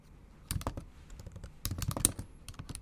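Long acrylic nails type on the bare plastic keys of a backlit MacBook Pro laptop keyboard, giving quick, dry clicks with a bright, sharp top and a soft low thump. The taps come in two bursts, one around half a second in and a denser run from about 1.6 seconds on, each dying away almost instantly.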